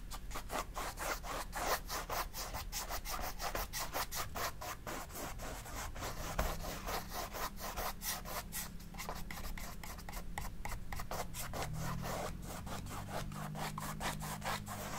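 A bristle brush scrubs black oil paint across a large stretched cotton painting canvas lying on a table, in repeated back-and-forth strokes. Each stroke gives a dry, scratchy rubbing sound with bright texture, forming a steady rhythmic brushing over a constant low hum.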